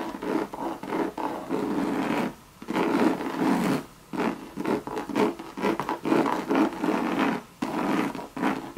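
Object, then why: Coated canvas and leather handbag. Long red nails scratch the monogram coated canvas of a hollow Louis Vuitton bucket bag with leather trim, making dry, raspy scratching strokes. The strokes come in bursts separated by brief silent gaps, their energy spread through the mids with little low end.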